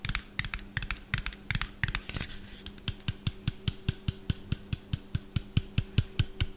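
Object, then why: Small plastic bottle. A small, hollow white plastic bottle with a yellow cap is tapped quickly with fingernails close to the mic. Rapid, sharp clicky taps carry bright ticks over a low, hollow thump, with a brief scratchy rub around the two-second mark. The tapping then settles into a steadier, evenly spaced rhythm.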